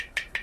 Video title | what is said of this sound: ठाणे coconut wholesale market - नारियल का सस्ता बाजार🥥🥥 | असा आवाज येतो पाणीवाला असला तर